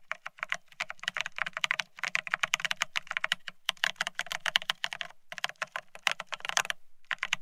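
Fingertips of both hands type fast on a full-size beige split ergonomic keyboard with plastic keycaps, resting on a desktop. The sound is a dense run of short, bright plastic clicks and taps, each dying away almost instantly, with brief pauses between bursts and a faint low thump under the keystrokes.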